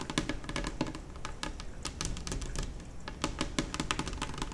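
Long nails on both hands tap rapidly across a large, solid, white glossy laminate kitchen table top. The sound is a dense, uneven patter of sharp, bright clicks that die away almost instantly, over a steady low hum.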